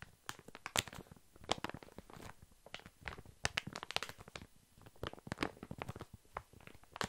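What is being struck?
Soft pack of baby wipes in thin plastic film.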